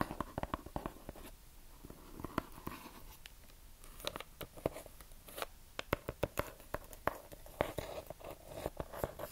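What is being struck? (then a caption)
Cardboard box wrapped in kraft paper. Long manicured nails tap and scratch a small, hollow rectangular gift box wrapped in brown kraft paper and tied with red string. Quick, dry clicking taps fall in uneven bursts over a soft, papery scratching rustle. Each tap stops almost instantly, with a faint mid-pitched hollow tone from the box.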